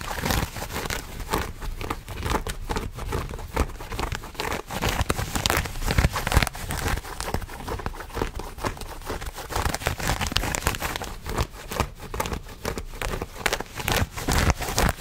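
Blue denim jeans are held in both hands close to the microphone while fingernails scratch across the fabric. Steady, uneven bursts of rough, crinkly scratching fill the clip, with bright fibrous rasps over a heavy low rumble from the handling.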